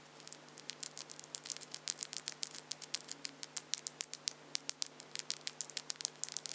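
Long acrylic false nail tips are tapped together and scratched against each other between the fingers of both hands. The result is a quick, irregular stream of dozens of soft, bright plastic clicks and ticks, each dying instantly, over a faint steady hum.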